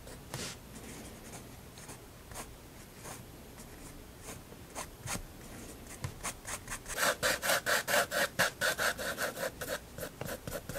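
A thin fineliner pen tip scratches short hatching lines across a flat white spiral sketchbook page resting on a wooden desk. Sparse, soft scratches come first, then from about seven seconds the strokes turn rapid, steady and louder, each a short, dry, bright rasp with a papery whistle near 1.5 kHz.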